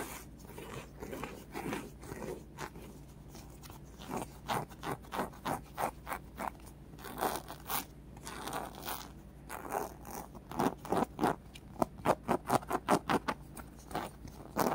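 Long painted fingernails scratch a small, soft, solid polyurethane foam squishy toy shaped like a watermelon slice with red flesh, green rind and black seeds. The result is a string of short, dry, crunchy scraping strokes over a faint steady low hum. The strokes grow quicker, louder and more sharply separated toward the end.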